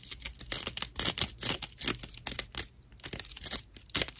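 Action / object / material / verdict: scrape / natural loofah sponge / plant fibre / none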